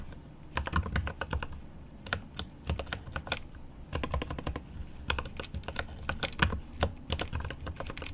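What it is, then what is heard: Mechanical keyboard with plastic keycaps. A hand types rapidly with its fingertips on a mechanical keyboard with plastic keycaps and an aluminum case. Bursts of quick, short clicky taps with a low thock are separated by brief pauses.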